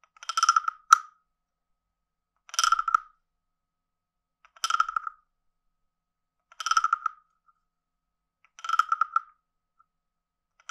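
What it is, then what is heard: Wooden frog guiro. A palm-sized, hollow, carved reddish-brown wooden frog guiro with a ridged back is held in one hand while a wooden stick is scraped along the back ridges and tapped near the head. Five short, dry, rasping croaks sound about every two seconds, each a quick run of woody clicks centred near 1.3 kHz with bright overtones. There is almost no ring, and another croak begins at the very end.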